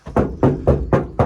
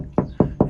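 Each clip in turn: First: hollow, tinny untreated steel van roof panel. Second: deadened steel van roof sounding solid.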